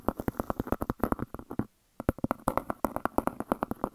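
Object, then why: Flat round stone-look disc. Long dark nails tap and scratch a large, solid, flat round grey speckled disc that looks like granite stone. About 33 quick, dry clicking taps are heard, with scratchy texture between them. The taps die out almost at once and pause briefly near the middle before resuming.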